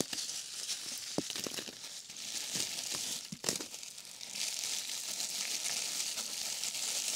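A small sheet of thin, clear, hollow-celled plastic bubble wrap is held in both hands with long painted nails over a box of packing peanuts, then crumpled and squeezed between the fingertips. It makes a steady, bright crinkling hiss broken by sharp little crackles and snaps, loudest around the middle and fading into a continuous rustle.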